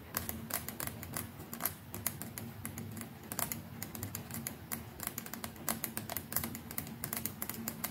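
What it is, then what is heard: Plastic electric toothbrush tapped with nails. Long nails rapidly tap and scratch the plastic neck and brush head of a white plastic electric toothbrush held in one hand. The result is a dense run of sharp, dry, bright clicks with very short decay, like fast typing, over a faint steady low hum.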